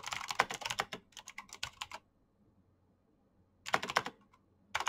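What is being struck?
Plastic mechanical keyboard.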